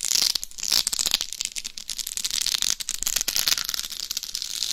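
Very long nails scratch and tap across the top and then the face of a life-size binaural dummy head microphone, a hollow shell covered in small plastic rhinestones. The sound is a dense, bright crackle of quick clicks and scrapes, almost entirely high-pitched with very little low end, each tick dying away instantly.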